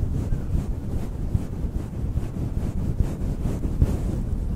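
Fingertips brush, press and rub a synthetic faux fur microphone windscreen around the capsule, producing a steady, muffled low rumble like wind noise, with almost no high or bright content. A few slightly louder soft thumps rise from the continuous scraping whoosh.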